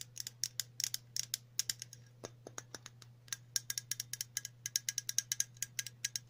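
Long natural nails tap and scratch a hollow metal aerosol spray can with a green, yellow and red printed cylinder, giving about 39 quick, bright clicks with almost no ring. A short stretch in the middle holds a few duller, softer taps before the rapid high clicking resumes, all over a faint steady low hum.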